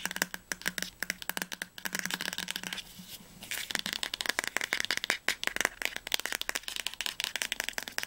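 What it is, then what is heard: Hardcover book spine, solid. Fingernails tap fast and scratch on the glossy spine of a teal hardcover novel, "Das Labyrinth erwacht," tilted toward the camera. The result is a rapid run of dry, bright clicks with almost no ring, broken around the three-second mark by a brief scratching stretch. The book sounds solid.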